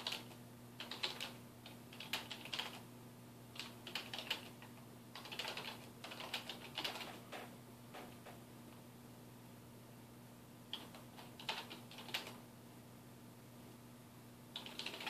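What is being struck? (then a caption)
Plastic computer keyboard. Fingertips type at a slow pace on a dark plastic desktop keyboard resting on a wooden desk. Quiet, bright clicky keystrokes come in short bursts, with a longer pause in the middle, over a faint steady low hum. Each tap is crisp and dies away almost instantly.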